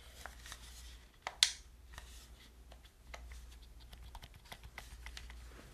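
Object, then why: Plastic game controller. Long nails scratch and tap the surface and buttons of a hollow black plastic gamepad held close to the mic. Dry, bright clicks and light scratches come steadily over a faint low hum, with one sharper, louder tap early on. Each tap dies away almost at once.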